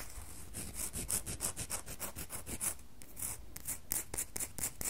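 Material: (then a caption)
Soap. Long fingernails rub and scrape across a solid red bar of soap in quick, uneven back-and-forth strokes. Each stroke gives a dry, bright, rasping scratch over a soft low rumble.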